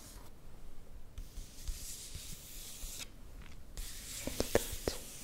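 Fingertips and long nails rub and scratch across the glossy paper of a magazine page printed with a portrait photo, held close. Soft, breathy rubbing with brief gaps gives way near the end to sharper scratches and small squeaky taps that ring mid-pitched with bright overtones.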